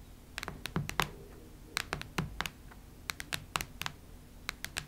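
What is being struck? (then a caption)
Cardboard hardcover notebook. Long nail tips tap the cardboard cover of a cactus-print hardcover notebook, making around eighteen sharp, bright clicks in an irregular rhythm. Each tap has a dull low thud beneath it and dies away almost instantly against a quiet background.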